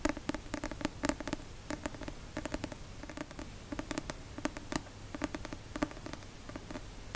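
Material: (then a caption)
Paper. A paperback copy of the novel La Passe-miroir, a solid paper book with a card cover, is held upright in one hand beside the microphone and tapped with the fingertips and nails. Quick, dry taps and light scratchy clicks come in uneven bursts, each with a soft papery thud and brief, bright nail ticks. They die away almost instantly, over a faint low background hum.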